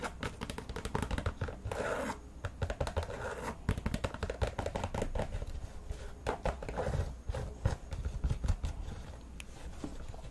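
Long manicured nails scratch and tap the synthetic knit mesh upper of an empty, hand-held white and red Nike soccer cleat, near the laces and along the side; the cleat also has a plastic studded soleplate. The result is a steady stream of rapid, dry scratches and soft, short taps with a hollow, low-weighted tone.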